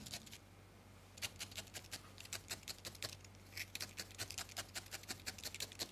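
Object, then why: Felted wool ball poked with a steel felting needle. A thin steel felting needle repeatedly stabs a small, solid ball of grey-white felted wool held between fingertips, recorded close up. After a brief quiet pause, quick, crisp, bright pokes patter in a fast, uneven rhythm, each dying away almost instantly over a faint, steady low hum.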